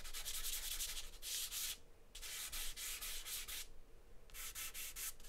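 A charcoal stick scratches and scribbles hatching strokes across a large white paper sheet taped flat on a table. Quick, bright, raspy strokes come in three bursts separated by short pauses, over a low steady hum.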